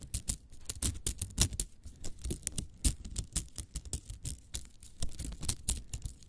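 Long acrylic nails scratch and click along a small hollow spiral cat toy made of nested green and yellow plastic coils, held in both hands and squeezed. A rapid, irregular stream of short, dry plastic clicks and scrapes with bright high crackle and a soft low thump under each one, all dying out almost instantly.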